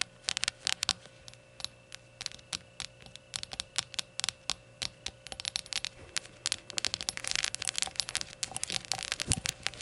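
Long nails tap around the rim and body of a small, hollow, empty rainbow glazed ceramic shot glass lying on its side with its open rim facing forward. Dozens of quick, bright, dry clicks with almost no ring come in irregular bursts, growing denser and more scratchy toward the end over a faint steady hum.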